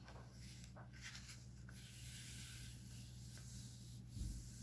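Fingertips and nails rub and scratch across the printed pages of an open paper comic book lying flat on a stack on a wooden table, then flip a page. A quiet, steady papery rubbing with a faint bright scratchy hiss sits over a low hum, rising to a brief, fuller rustle near the end as the page turns.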